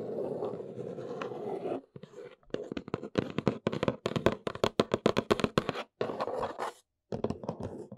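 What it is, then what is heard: Cardboard box. Long nails scratch across the top of a large, flat, brown Neewer cardboard box that is hollow, producing a dry, continuous rasp. Then comes a run of quick, hollow taps with short gaps between them. A brief second scratch and a short silence are followed by more light tapping.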